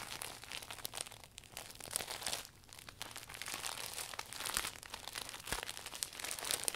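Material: Vinyl plastic.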